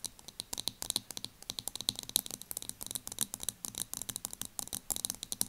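Long nails tap and scratch the clear plastic base of a small loose powder jar turned upside down, with the powder visible on top. Dozens of quick, dry, bright clicks and scratchy ticks follow one another with almost no ring and very little low end.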